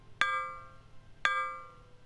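An aluminum board is struck twice with an impulse hammer while the voltage range is being adjusted. Each strike gives a sharp metallic clang that rings on in clear tones around 500 Hz and 1.6 kHz before fading away.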